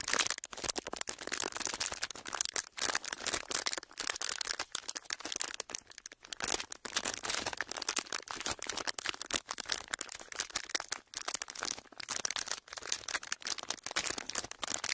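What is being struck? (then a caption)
Thin plastic sheet. A thin clear plastic sheet is rolled and pressed between palms and fingertips, making a steady stream of crinkles and rubbing. The sound is dense, crackly and bright, with quick sharp bursts and almost nothing in the low end throughout.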